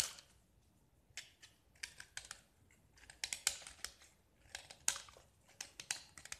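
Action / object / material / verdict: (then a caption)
scrape / painted gypsum brick / gypsum / none. A metal utility knife blade scrapes the purple painted, diamond-patterned face of a small solid gypsum brick, sending flakes falling. Short, bright, crackly scraping bursts come in an irregular run with brief quiet gaps between them. The sound is thin and crisp with almost no low end.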